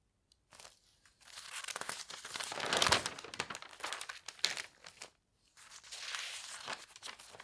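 Fingertips turn a page of an open, thin paper newspaper lying on a bed, then the palm smooths it flat. Bright, dry crinkling and rustling rise and fall in bursts, peaking in the middle, with brief quiet pauses between movements.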